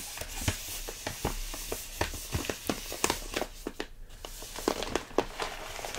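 Fingertips tap and squeeze a large, full plastic stand-up bag of rolled oats, making the plastic crinkle. About thirteen short, sharp taps stand out over a steady, soft crinkling rustle with bright, crisp highs. Each tap dies away almost at once.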